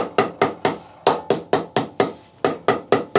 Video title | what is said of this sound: Woodturning Lesson 8/11 - How to turn a nice platter | it goes solid ... so I know that it's gone to the bottom